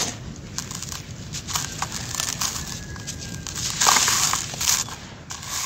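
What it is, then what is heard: Dry sand-cement mix crumbling. Bare fingertips and hands squeeze and crumble balls of grey, grainy dry sand-cement mix, loose and pressed solid, in a pink plastic basin, then let the grains pour. Dense, bright crunching and crackling come in irregular bursts over a soft, steady hiss of trickling grit, with the loudest crumbles near the middle and end.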